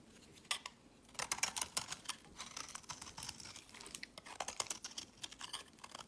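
A knife cuts and scrapes a solid light-green soap bar, shaving off curled flakes that pile up on a mat. The sound is a quiet series of short, dry, bright scraping and crisp cutting strokes with almost no low end. The strokes come in bursts and each one dies away at once.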